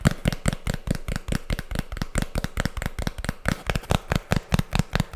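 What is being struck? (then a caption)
Cardboard disc. A thin, flat, round tan cardboard disc with a black printed label, solid with no hollow, is held close to the microphone and tapped and scratched with long fingernails. About two dozen quick, irregular taps land as dry, low, thumping knocks with no ring, mixed with brief bright scratchy clicks.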